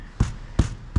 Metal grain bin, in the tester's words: when you tap on something it makes a non Hollow sound is when you are full